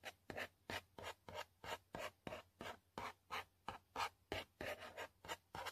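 A long pointed fingernail scratches and rubs across the flat printed panel of a yellow cardboard selfie-stick box. About twenty quick, rasping strokes come in a steady back-and-forth rhythm, each a dry, bright scrape with a midrange papery body. The clip is quiet, and each stroke stops almost at once with no ring.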